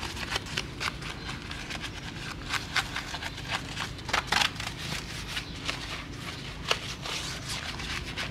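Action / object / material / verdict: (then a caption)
scrape / pressed-steel car wheel / steel / none. A gloved hand scrubs the wet, foamy pressed-steel wheel with vent holes of a 1993 Honda Civic Hatchback with a small stiff brush, working around the hub and rim. Bright, bristly scrubbing strokes come in short bursts over a low, steady background rumble, with a few sharper clicks.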